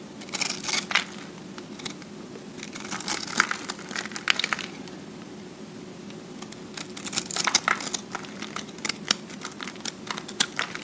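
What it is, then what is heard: Recycled soap disc being shaved. A metal cutter blade shaves and scrapes the surface of a solid, round recycled soap disc, and flakes crumble off over a finger. The sound is a series of bright, crisp crackling and crinkling scrapes in several bursts over a faint steady low hum.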